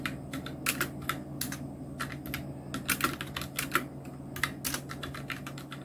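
Fingertips of both hands type on a full-size black Nubwo Illusion NK-70 mechanical keyboard with Outemu red switches, round plastic typewriter-style keycaps and blue backlight. Quick, uneven bursts of bright, clacky keystrokes with very short decay sit over a steady low hum.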